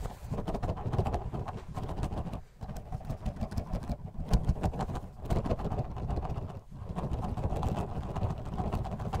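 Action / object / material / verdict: shake / plastic bottle holding gel water beads / plastic / none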